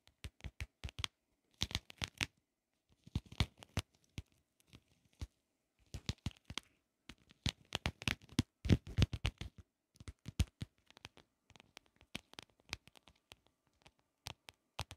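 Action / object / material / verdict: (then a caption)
tap / plastic shell compact mirror / plastic / none. Long acrylic nails tap and scratch a small, closed, shell-shaped pocket mirror with an iridescent pink holographic plastic case, held in both hands. Quick, dry plastic clicks come in irregular bursts, mixed with short scratchy rasps and quiet gaps between. Each tap stops almost at once with no ring, and the overall level stays soft.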